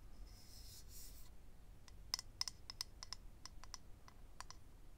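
Fingernails scratch and then tap rapidly on a small, hollow, rectangular clear acrylic eyelash case holding rows of lash strips. A bright, hissy scratch comes first, followed by a quick run of sharp, high, clicky taps that stop almost instantly, over a low, quiet background rumble.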